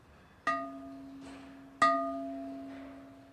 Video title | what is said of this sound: Pottery Mfg. Infomercial | if you hear a high-pitched ring you know that it's structurally sound and it doesn't have a crack